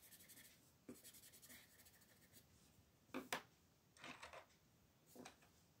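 A colored pencil makes small coloring strokes on a flat paper page of a Mortal Instruments coloring book lying on a table, with one hand holding the page flat. Quiet, dry scratching and rubbing come in short, bright bursts of pencil-on-paper hiss, with a couple of slightly sharper strokes near the middle.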